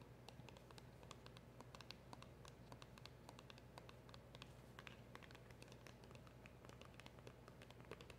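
Long acrylic nails tap on the front and sides of a small, hand-held black printed cardboard box with a silver seal. The taps come as steady, rapid, light clicks over a low, constant background hum.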